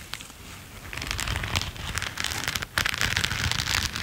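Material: Latex rubber.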